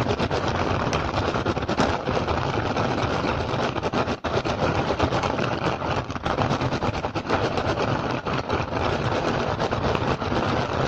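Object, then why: Woven rattan basket. Fingertips and short nails of both hands rapidly scratch and tap the woven surface of a large, hollow rattan/straw basket with a pink and green pattern. The result is a dense, continuous crackling rasp with a low hollow thump underneath and a bright, brittle edge. It holds steady throughout, with only a brief dip around four seconds.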